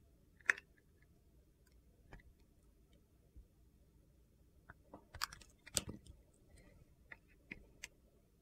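A solid bar of soap with a blue and purple glitter coating is held in the hand and carved along its edge with a utility knife blade, slicing off pieces. Quiet, crisp, gritty crunches and scrapes come in short, scattered bursts against near silence, with a cluster of busier cuts in the middle and a few sharp, bright snaps toward the end.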